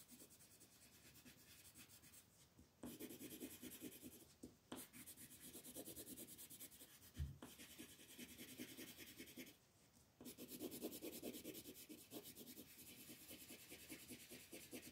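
A gold wooden colored pencil rubs and shades across a flat white paper mandala coloring sheet held by fingertips. Continuous dry, scratchy strokes give a bright, papery hiss, broken by brief pauses near 2.5 and 10 seconds and a few sharper scrapes.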